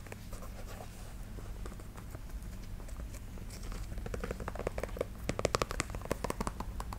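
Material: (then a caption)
Canvas, rubber. Long acrylic nails tap and scratch along the white rubber sidewall and canvas upper of a hollow, empty black canvas low-top sneaker in Converse One Star style, held in one hand. Soft, steady scratching gives way to quicker, crisper taps that grow louder toward the middle and end, over a low steady hum.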